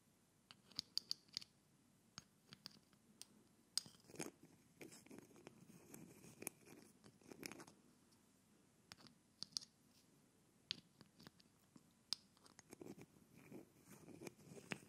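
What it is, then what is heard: Glass bottle with metal screw cap being screwed on. A metal screw cap is held up, then placed on the glass neck of a small dark-blue glass bottle and screwed on with the fingertips. Quiet, bright scratching and grinding of the cap threads against the glass is heard, broken by short sharp clicks and ticks throughout.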